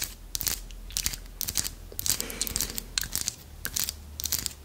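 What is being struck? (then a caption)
Small carved wooden armadillo figurine. Long nails scratch and tap the ridged back of a small, solid carved wooden armadillo figurine. Quick, irregular bursts of dry, bright, crunchy scratching mix with short clicky taps that stop dead with no ring, over a faint low hum.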